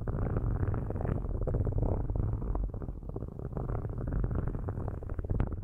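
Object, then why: Metal microphone grille. Metal-tipped sticks scratch the metal grille tops of two cylindrical microphones, producing a dense, continuous low rumble of rapid scraping strokes. The sound stays deep and muffled with almost nothing bright, fluttering steadily with a slight dip midway.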